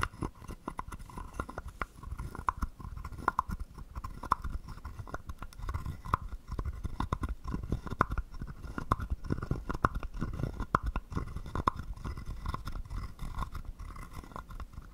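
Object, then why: Carved wooden frog guiro. A hollow carved wooden frog guiro, held in the palm, has a wooden stick scraped rapidly along its ridged back. This produces a steady stream of dense, dry ratcheting clicks with a hollow woody resonance near 1 kHz and soft low thumps underneath.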